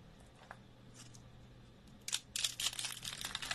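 Rolled curls of dry, brittle green soap on a wooden surface are handled as fingers break flakes off, then hands squeeze and crush the rolls. Faint, sparse crackles in a quiet background give way after about two seconds to dense, bright, crisp crunching and crumbling that continues to the end.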